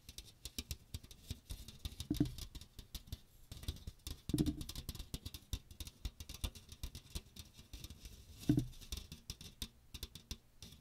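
Fingernails rapidly scratch and tap the fine metal mesh of a small strainer with a teal plastic rim, tilted around the microphone. A dense, quick patter of light, dry ticks runs throughout, with three louder, fuller swells carrying a low hum near 300 Hz. Each tap dies away almost instantly.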